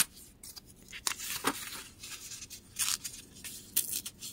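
Fingertips tear a thin printed book page into ragged-edged pieces, with the torn pieces resting on a white table. Quiet, irregular bursts of bright, crackly paper tearing come with almost no low end, and each rip stops dead without ringing.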